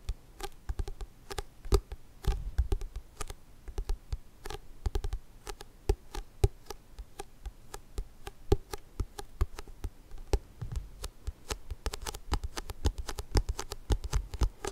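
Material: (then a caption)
Paper. A thick, solid paperback book with a glossy yellow and black cover is held in both hands while fingernails quickly tap and scratch across the cover. The result is a dense run of short, dry clicks and scrapes with a low thud under each tap and bright, crisp edges that die away almost at once.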